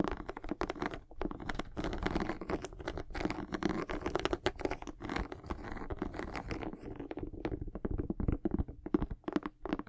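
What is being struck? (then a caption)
Rubber sneaker sole. Long acrylic nails scratch and tap the solid tread of a white textured rubber outsole on a high-top sneaker held in both hands. The result is a steady stream of quick, dry scratches and dull, muted taps, weighted toward the low and middle range, with almost no ring after each contact.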